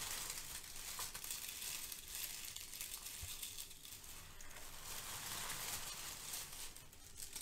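Fingertips and nails scrunch and crush brown crinkle-cut kraft paper shred filler resting on a foam sheet. A steady, quiet, bright crackling crinkle continues throughout, with dense high rustling and a few low thumps underneath.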